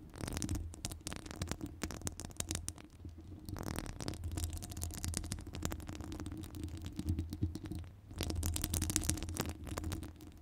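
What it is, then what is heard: Metal microphone mesh grille being scratched. Long nails scratch the top of a hollow metal wire-mesh microphone grille. The result is a dense, continuous crackle of bright scratchy rasps over a heavy, booming low rumble. It swells and eases in uneven bursts.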